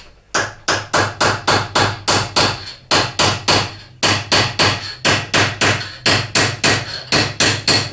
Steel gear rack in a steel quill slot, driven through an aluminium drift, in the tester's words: Well, it sounds solid. It sounds really solid.